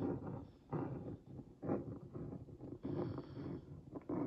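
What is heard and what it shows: The tip of a wooden skewer traces over the printed letters and cookies on a hollow Oreo Mini cardboard box held in one hand, making a scratch. Soft, grainy rasps come in uneven bursts, mostly low and mid in tone, with a hollow boxy body and little ring after each stroke.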